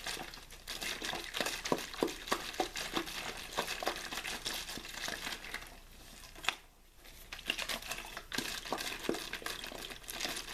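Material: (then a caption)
Plastic. A clear, thin plastic water bottle with a blue label, hollow and apparently empty, is held in the hand, shaken and squeezed. It makes dense, bright crinkling and crackling with irregular sharp snaps. The noise briefly drops to a near pause just before the 7-second mark, then resumes.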